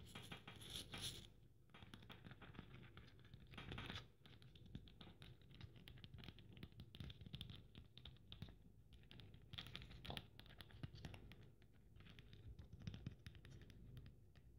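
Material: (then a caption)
Plastic, glitter. Long dark nails tap and scratch the glitter panels and rows of plastic pearl beads on a hand-held, blue glitter-covered Christmas ornament. The result is a quiet, steady stream of quick, dry scratches and tiny clicks with a bright, gritty crackle over a low background hum, swelling briefly in a few denser bursts.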